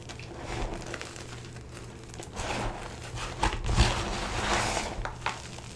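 Bare, chalky hands dig into a plastic bin of stale, crushed blue-green dyed gym chalk (magnesium carbonate), from fine powder to small chunks, squeezing and rubbing handfuls so the pieces crumble. Soft, gritty crunches and crinkly rustles rise and fall over a steady low hum, with a few brighter crackles as chunks break apart.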